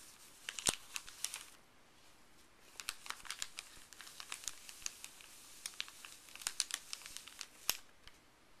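Fuzzy gloved fingers rub and crinkle a creased, empty, printed white paper pharmacy bag on a wooden table. The result is a steady run of bright, crisp crackles and sharp snaps with almost no low end, easing into a brief quieter stretch before the crinkling picks up again. Each snap dies away almost instantly.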